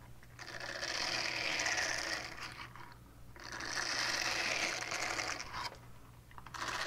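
Long painted nails scratch across the textured face of a small, flat, solid purple silicone scrubber pad with a hanging loop. The result is bright, hissy, rapidly rasping scratches in two long sweeps, with brief pauses between them, and a third sweep starting at the end. A faint, steady low hum runs underneath.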